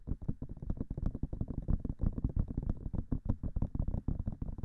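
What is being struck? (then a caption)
Silicone ear of a binaural microphone. Long fingernails tap rapidly on the silicone ears of a binaural microphone. The result is a fast, irregular stream of short, dull, muffled thuds, heavy in the low end with almost no brightness and very little ring after each tap.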